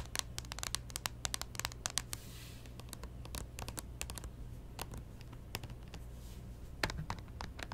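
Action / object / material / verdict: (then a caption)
tap / plastic handheld game console / plastic / none. Long painted fingernails tap and scratch the screen and casing of a small white plastic Nintendo 3DS XL, a hollow electronic device opened flat on a cloth-covered table. Rapid, sharp, dry clicks with bright edges come in quick clusters, mixed with soft scraping, over a steady low hum. Each tap dies away almost instantly.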